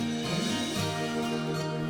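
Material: Nothing is struck.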